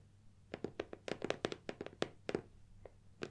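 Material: Cardboard.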